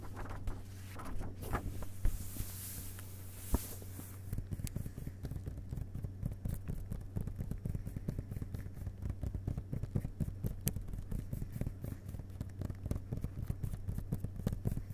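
Fingertips brush and then tap the thick blank front endpapers of a hardcover book lying open, with the jacket flap visible, over the cardboard board. A soft papery brushing hiss in the first few seconds gives way to rapid, dense, dull taps that are low and muffled, with almost no ring. A steady low hum runs underneath throughout.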